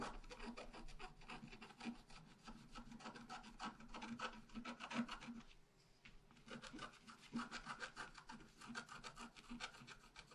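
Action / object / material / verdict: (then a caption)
scrape / scratch art paper sheet scraped with a wooden stylus / coated paper / none. A wooden stylus scratches a tree trunk and branches into a thin sheet of scratch art paper lying flat. Quick, dense rasping strokes carry a bright, papery hiss over a faint low tone, pause briefly just before the six-second mark, then start again at the same steady pace.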